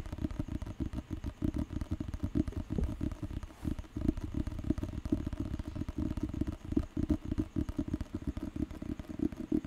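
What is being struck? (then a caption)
Thick paper book with glossy cover. Fingertips and nails rapidly tap and scratch the glossy paper cover of a thick, solid dictionary book (KAMUS) held in both hands close to a microphone. A dense, continuous stream of soft, dull, low-pitched taps with a light scratchy texture runs throughout, each tap dying away almost instantly.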